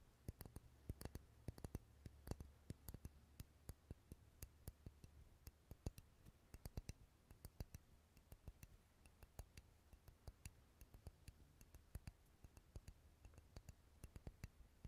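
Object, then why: Wax pillar candle. Fingernails tap and scratch the surface of a solid purple wax pillar candle held close to the mic, making dozens of short, dry, bright clicks in a quick irregular run. A quiet, steady low hum sits underneath the taps throughout.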